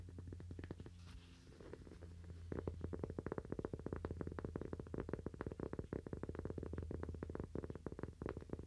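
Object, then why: Cork coaster. A cork Toaster Coaster is tapped with fingernails, producing rapid, dry, short clicks with almost no ring over a steady low hum. The tapping is light and sparse at first, then becomes louder and denser after a couple of seconds, continuing as a quick, busy patter to the end.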